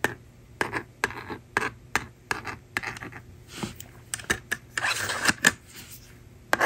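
A plastic stylus writes on a hand-held plastic magnetic drawing board, making a quick series of short, dry, rasping scratches with a bright edge. Broader rubbing swells follow as the screen is erased with the slider. Each stroke cuts off sharply with almost no ring.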